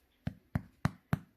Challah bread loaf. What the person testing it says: when you turn it over gently, sounds like a drum. It doesn't sound like thud. So when it sounds hollow in the inside, it is ready.